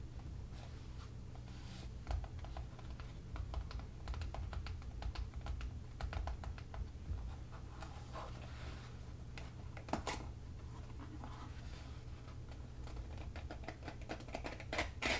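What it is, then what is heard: Cardboard box. Fingertips and nails tap and drum on the top face of a small, hollow cardboard product box lying on its side on a table. A steady, rapid patter of soft, hollow taps carries a low, thumpy body, with crisp, bright clicks from the nails. Each hit dies away almost at once.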